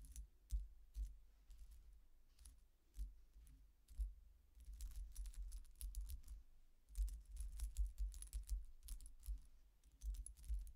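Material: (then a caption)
Metal. Long painted nails tap and scratch across the thin, solid, flat silver-coloured metal coin-like discs of a statement necklace on metal chains, lying flat on a dark cloth-covered table. Quick, dry clicks and bright metallic ticks come in uneven bursts over a low, soft rumble, each one dying away almost at once.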